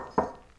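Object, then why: Earthenware cooking pot. A knock on an earthenware kamameshi pot from a microwavable instant meal kit, a solid ceramic cooking pot that is glazed glossy inside and unglazed with a matte finish outside. A short, dull tap with a mid-range tone around 1 kHz fades within about a tenth of a second.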